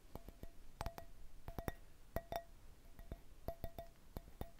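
A round, hollow, mosaic-patterned glass candle holder with a small candle inside is held in one hand and tapped with the fingertips and nails of the other. It gives an uneven series of quiet, sharp taps, each a dry click with a faint glassy tone near 700 Hz that dies away almost instantly.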